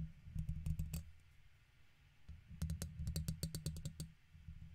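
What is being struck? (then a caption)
Metal wire-mesh microphone grille scratched with a plastic pick. A plastic guitar pick held in the fingertips scratches the right side of a silver microphone's hollow metal wire-mesh grille. Two quick runs of sharp, bright scratchy clicks ride over a deep, boomy low rumble, separated by a quieter stretch in the middle.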